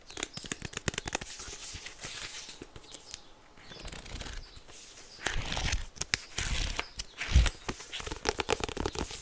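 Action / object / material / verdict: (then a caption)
tap / card-covered paper agenda / card, paper / none. A small white polka-dot 2024 paper hardcover agenda with a card cover, held closed as a solid book in both hands, is tapped with fingertips and on its spine edge. The result is a fast run of dry, short taps with a papery crinkle and rustle between them. Heavier, low thumps come near the end.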